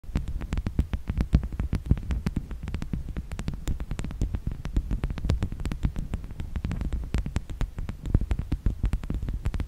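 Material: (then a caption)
Wood. A wooden object is tapped rapidly and continuously in a steady stream of short, dull knocks. The taps are low and thumpy, with almost no high ring, and each dies away almost at once. No voice is heard.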